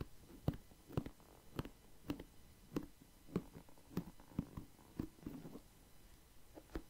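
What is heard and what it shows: Fingertips slowly scratch and tap the bristles and wooden body of a wooden paddle hair brush held close to the mic. Soft, dull, low taps land at an uneven, unhurried pace with brief bristly scratches between them, each dying away almost at once against a quiet background.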